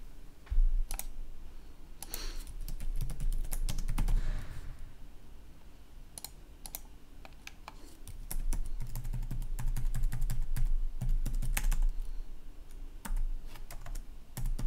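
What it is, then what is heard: Plastic laptop keyboard. Both hands type fast with their fingertips on a red-backlit plastic laptop keyboard, producing dense, irregular clicks of key taps. A steady low hum runs underneath, swelling louder in stretches while the typing continues throughout.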